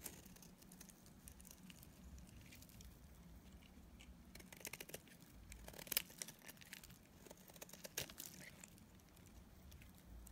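A utility knife blade scrapes and cuts pieces off a solid, dried yellow soap bar held in the hand. The sound is a quiet, steady run of dry, crumbly scraping and crunching, with short bright crackles. A few sharper snaps stand out around the middle of the clip.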